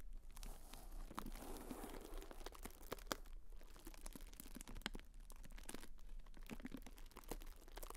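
A pink tissue-paper honeycomb fan is crinkled and folded closed by fingertips close to the mic. Quiet, steady crackling and papery rustling runs throughout, with many sharp, bright crinkle ticks over a low, constant hum.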